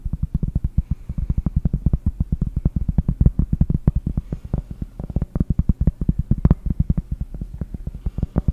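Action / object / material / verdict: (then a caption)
tap / round cork trivet / cork / none. Long painted nails tap rapidly on a large, round, solid cork trivet held in both hands. The result is a fast, continuous run of dull, deep, muffled thuds with almost no ring after each tap.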